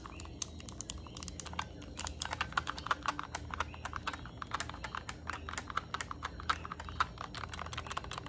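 Long nails tap and scratch along the plastic edge of a yellow Nintendo Switch Lite, around its vents and headphone port. The result is a quick, dense run of short, dry clicks with bright ticking over a steady low background hum. The clicks come in uneven bursts that build toward the middle of the clip.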